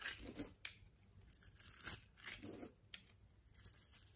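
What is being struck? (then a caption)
Bar of soap. A utility knife blade scrapes and shaves the surface of a solid orange and white striped bar soap held in the palm. Short, bright scraping strokes come in a quick series with soft crunchy, tearing texture between quieter gaps.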